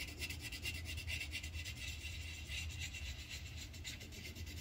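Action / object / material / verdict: scrape / wooden colored pencil on paper sheet over a clipboard / paper / none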